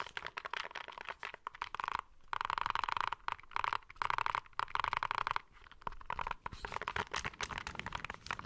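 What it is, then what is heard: Plastic handheld game console. A small, hollow, grey plastic retro handheld game console with a screen and buttons is held close to the mic and tapped and scratched with fingertips and short nails on its back and face. Rapid, dry plastic clicks and scratchy crackling come in dense bursts of louder tapping. The sound is centered in the midrange with a hollow, boxy tone and very little low end.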